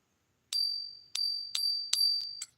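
A genuine silver coin is pinged repeatedly in a ping test, giving a sustained, bright, high ring that carries through each strike. The clear, long-lasting tone marks it as real silver.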